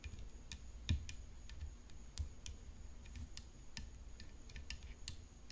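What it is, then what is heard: Tennis racket tapped with fingernails. Long fingernails tap a tennis racket in a steady, continuous stream of quiet, short clicks. Each tap is bright and dry with almost no ring, over a constant low hum.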